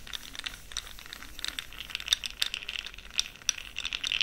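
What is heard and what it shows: A small, open clear plastic jar full of small pastel powder pearls is held in one hand with long pink nails while a fluffy makeup brush swirls and stirs the pearls. The pearls make a quiet, bright, irregular rattling with many small clicky ticks and no low end.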